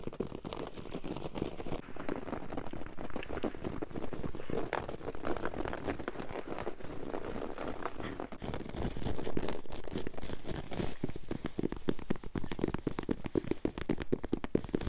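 Both hands scratch and tap a flat, solid, low-pile woven textile floor carpet with long yellow acrylic nails. The result is a dense, rapid stream of dry, crinkly scratches and short, dull taps with almost no ring. The scratching grows louder and more aggressive in the second half.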